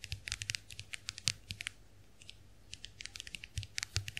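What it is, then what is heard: Plastic compact hand mirror. A small round white plastic clamshell hand mirror is held open while long acrylic nails tap its plastic backs. Quick, bright clicking taps come in uneven bursts, with a brief quiet pause in the middle before the tapping resumes.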